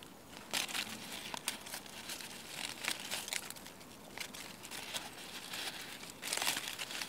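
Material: Leaves.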